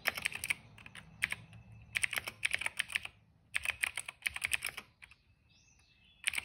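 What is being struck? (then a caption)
Plastic mechanical keyboard. Fingertips type steadily on a cream plastic mechanical keyboard with black, purple and yellow keycaps and a hollow case. Bright, dry key clacks come in quick bursts, separated by short pauses where only a faint background hiss remains.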